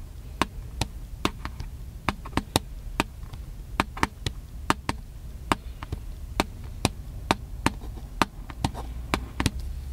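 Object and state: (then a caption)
Plastic camcorder casing. Fingertips rub and scratch the casing of a small black handheld plastic camcorder, producing a steady series of short, sharp, dry clicks and taps. The clicks have a bright edge and no ring, heard over a soft low rumble.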